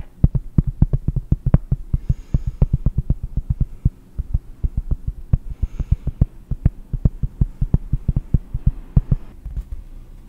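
A cork is tapped in a quick, steady run of short, dull, low thuds that stop almost instantly, with a faint low hum underneath. Faint brief bright hisses drift in twice between the taps.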